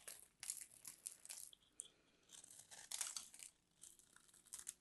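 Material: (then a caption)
Soap. A palm-sized solid white bar of soap, held in a hand with long manicured nails, is scraped and carved with a metal craft knife. The result is quiet, bright, crisp scraping and crumbly crackling in short bursts, with almost no low end.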